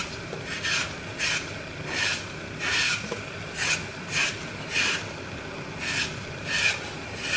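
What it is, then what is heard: Floral foam being crushed. Fingertips and a thumb crush and break away the edges of a solid green floral foam block coated in glitter with a Mickey picture, held in the hand, crumbling the foam onto a pile of fragments. A series of dry, bright, raspy crunching bursts rises and falls over a steady hiss, centred around 2.4 kHz.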